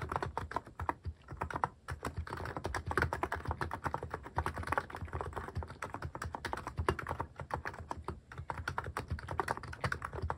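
Fingertips type fast on a cream mechanical keyboard fitted with sculpted plastic cat and paw keycaps, producing a dense, continuous stream of short clacky keystrokes. Each press ends quickly, with a muted low thock under a mid-range click.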